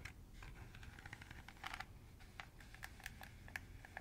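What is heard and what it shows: Fingernails scratch along the rim slots of a round, hollow, empty green plastic colander held near the microphone. The result is a quiet run of dry, rapid ticks and scratchy clicks with bright edges, each dying away almost instantly over a soft low rumble.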